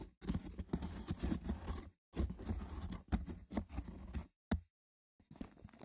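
Fingertips with short nails scratch the braided top of a small, hollow, rectangular woven wicker box with a lid. Rough, dense scratching and rustling comes in several bursts separated by brief silences. The sound is dull and mostly low, with little ring after each stroke.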